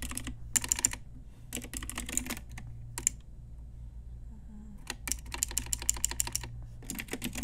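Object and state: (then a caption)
Plastic mechanical keyboard. Long nails and fingertips type on a pink Ajazz retro typewriter-style mechanical keyboard with round plastic keycaps. Bursts of bright, sharp plastic clacks come in quick runs separated by short pauses, over a steady low hum. Each click is crisp and dies away almost instantly.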